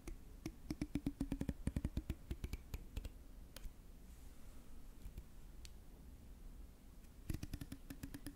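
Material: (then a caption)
Plastic. Fingertips strum and flick the fine teeth of a long, solid, grey translucent plastic comb held in one hand close to the microphone. Fast runs of short, dry plastic clicks and ticks with a soft low thump carry over a faint background hum. A dense flurry at the start thins into a few scattered flicks and a quiet lull, then a second quick burst closes the clip.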